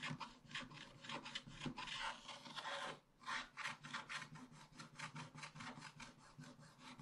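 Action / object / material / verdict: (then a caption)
scrape / wax-coated scratch-art paper scraped with a wooden stick / waxed paper / none. A wooden stick scratches fast strokes across a flat scratch-art paper page, removing its black wax coating. A steady run of dry, bright, raspy scrapes is heard, with a brief pause near the middle before the quick strokes resume.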